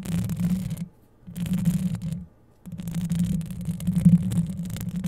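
Long yellow acrylic nails scratch both sides of the hollow metal mesh grille on a Blue Yeti-style microphone, with a chain bracelet on the wrist. Three bursts of dense, rasping scratching come through as a low, rumbling scrape centered near 170 Hz. Two brief near-silent pauses separate the bursts, and the last burst runs longest.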